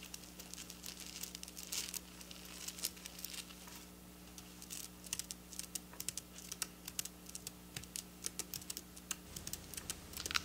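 Long black nails tap rapidly on silver plastic sequin fabric in a typing-like motion. The result is a quiet stream of crisp, bright clicks and rustles over a faint steady low hum, with a brief lull near the middle.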